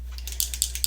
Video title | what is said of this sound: Goddess Lipsense Application #pinkmakeup #pinklips #goddess | if you hear that ball or clicking noise, it's actually a ball that is mixing up your color